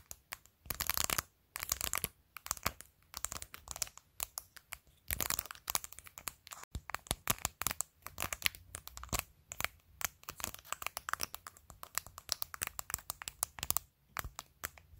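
Long acrylic nails tap and scratch a small, hollow-backed clear glittery plastic phone case on a phone, decorated with rows of pastel acrylic fake nails. Dozens of quick, dry, bright clicks come in rapid clusters, mixed with crinkly scratching bursts and brief pauses. Each tap stops almost instantly, with no ring.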